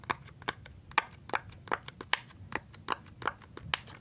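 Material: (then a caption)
Silicone. A rainbow silicone pop-it fidget toy sheet with hollow bubbles is pressed and popped with fingertips. Twelve short, dry pops come at a steady pace, each a sharp click centred near 880 Hz with a bright top and almost no ring.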